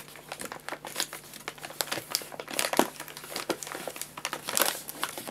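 Fingertips squeeze and crinkle a 2 kg white paper bag of guinea pig food with a printed label, held upright in both hands, hollow and filled with dry pellets. The result is a steady stream of crisp, bright crinkles and crackles, with short sharp peaks rising over soft rustling throughout.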